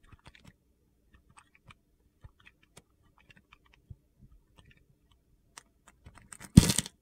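A metal utility knife blade cuts and scrapes crumbly pieces off the remaining piece of a solid yellow soap bar held in the hand. Quiet, sparse crisp ticks and soft crunches give way to a louder, bright gritty scrape at the end.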